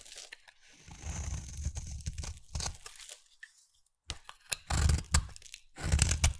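A hand-held, solid rectangular light pink bar soap is carved with a utility knife blade into curly flakes. Soft, low, tearing scrapes with bright crunchy edges come in uneven strokes, then pause briefly before louder, sharper cuts resume.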